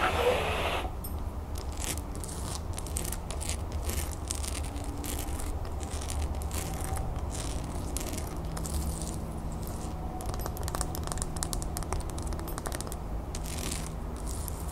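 Long fingernails scratch a solid cream wax pillar candle with a textured gold lace surface. A steady, dense scratching texture runs throughout, with a low rumble beneath it and a brief brighter burst at the very start.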